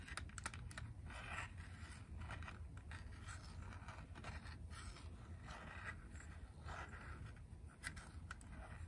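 A small, hollow grey hard-plastic Game Boy game cartridge (Wario Land) is tapped and scratched with long press-on nails. Quick, light clicks mix with scratchy scraping bursts over a low, steady rumble.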